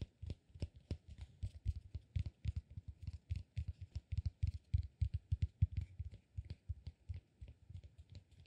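Fingertips scratch and tap a solid, peanut-shaped cork massage ball held upright. About 45 quick, irregular, soft taps land over the 8.5 seconds, each a dull, low thud with a faint bright scratchy edge and no ring. The sound is dry and muffled.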